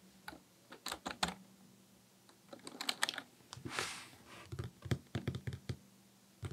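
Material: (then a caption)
Plastic. Fingertips of both hands type fast on a black, full-size Dell KB1421 plastic membrane desktop keyboard with a hollow housing, resting on a desk. Quick, uneven bursts of short, bright key clacks over a low hollow thud are broken by brief pauses and a soft, breathy swell in the middle. The typing then stops.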